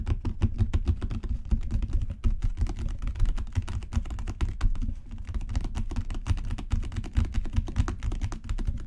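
Fingertips and long natural nails rapidly tap a solid, dark brown genuine leather book cover with raised spine bands. A dense, steady stream of soft, low, muffled thuds is heard, each with a faint clicky edge and very short decay, continuing without pause throughout.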